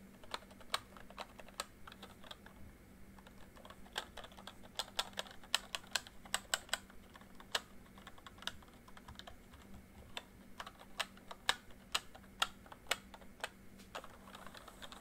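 Fingertips type slowly on a full-size plastic MSI membrane keyboard with a backlight, producing a steady run of separate, short, bright clicky taps that die away almost instantly. A faint low hum runs underneath.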